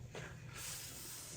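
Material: Nothing is struck.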